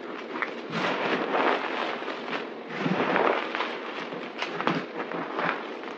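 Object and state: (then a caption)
Crumbled dry soap pile. Hands dig into a pile of white crushed dry soap powder and chunks on a table, pressing and crunching it with fingers and palms. The result is a dense, continuous crackling crunch that swells and fades in uneven bursts, with bright, gritty texture and little low end.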